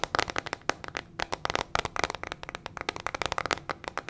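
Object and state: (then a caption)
Plastic hairbrush with metal pins. A small teal hairbrush with a hollow plastic body and metal pin bristles is held in the hand and tapped and scratched with long fingernails. Rapid, sharp clicky taps and scratches come in a dense, uneven stream with bright, crisp edges and almost no ring. The result sounds like a quick crackling patter.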